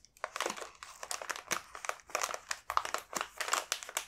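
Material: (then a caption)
Plastic foil. A large, full multipack of coconut sablé biscuits in a glossy, foil-lined plastic wrapper is held in both hands, turned over and flexed, so the wrapper crinkles under the fingertips. A steady run of sharp, dry crackling bursts is heard, bright and crisp with almost no low end, each crinkle cutting off almost instantly.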